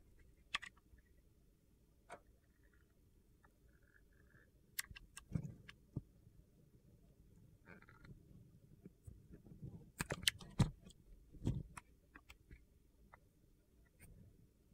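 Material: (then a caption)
Glycerin soap. A metal utility-knife blade slices thin layers from the top and face of a solid, hand-sized, translucent green glycerin soap bar. The cuts make crisp, short scraping and clicking sounds over a quiet low rumble, with brief pauses between strokes.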